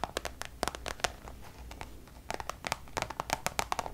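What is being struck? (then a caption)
Coated canvas pouch. Long nails tap and scratch the surface of a Louis Vuitton coated-canvas designer pouch. The result is a quick, uneven series of sharp, dry clicks with a bright ring, over a soft, steady scratching rasp between the taps.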